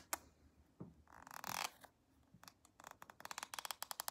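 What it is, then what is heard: Plastic lotion tube scratched with nails. Long acrylic nails scratch along the printed back of a small, soft plastic CeraVe cream tube held sideways. A sharp tick opens the clip, followed by a bright, rasping scrape that swells and fades. It ends with a quick run of crisp, high-pitched plastic ticks.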